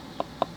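A paintbrush is tapped three times on a rubberized collapsible water container to knock water off the brush. Each tap is a soft, short, dull knock centered around 680 Hz with almost no ring. The tapping stays very quiet compared with tapping on hard plastic.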